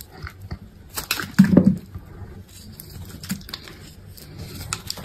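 A metal box-cutter blade shaves thin curls and slices from a solid white bar of soap held in the hand. Soft, dry scraping and crunching cuts come in an irregular run, with one fuller, low crunch standing out near the start before the quieter shaving continues.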